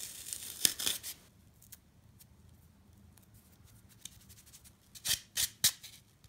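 A solid, rectangular block of dry green floral foam with small dents on its surface is held in the hand while long nails and fingertips scratch and rub across its face. Seven bright, crisp scratching bursts are heard, three near the start and four near the end, separated by a quiet stretch with faint crackles.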